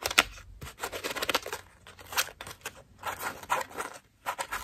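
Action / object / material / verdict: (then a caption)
scrape / foam bath loofah / foam / none. A cream foam bath loofah is squeezed and scratched with long nails, its petals pressed together. Bursts of bright, crinkly scratching and rustling come in quick clusters with brief quiet gaps between them.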